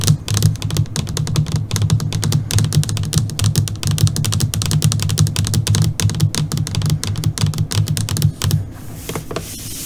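Long, glossy purple nails on both hands tap rapidly on the surface of a flat black LCD computer monitor screen. The result is a dense, continuous stream of short, dry clicks with a low thudding body and bright tips. The tapping stops shortly before the end, leaving only a soft hiss.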